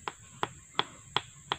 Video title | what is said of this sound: MEMILIH BATANG KAYU UNTUK PERBAIKAN JEMBATAN BU NELY DAN PAK UDIN | Biasanya kalau suaranya padat bisa itu sangat kuat teman-teman